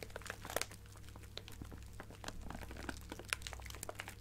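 A clear plastic bag of colorful sequins, held in one hand, is crinkled and scratched with long painted nails. Dense, dry crinkling and sharp crackles, some bright and snappy, play over a steady low hum, with brief peaks of louder crunches.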